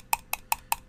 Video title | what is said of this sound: Basilray Reviews: The Reo Grand from Reo's Mods! | I'm just tapping on the door here and you can you can hear that I mean that's that's pretty loud